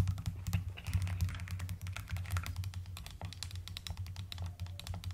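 Fast typing with long nails and fingertips on a mechanical keyboard with a white case and pastel plastic keycaps produces a dense stream of short, sharp clicks and clacks. A steady low hum sits underneath the rapid keystrokes throughout.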